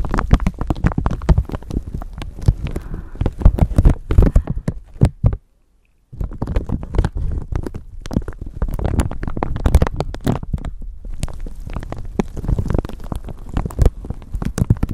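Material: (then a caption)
Plastic. A thin clear plastic bag wrapped over a microphone is scrunched and scratched with long nails, giving dense, rapid crinkling and scratching with heavy low-end thumps from handling of the microphone underneath. The rustling runs almost continuously, breaks off into a brief silence just past five seconds, then resumes just as densely to the end.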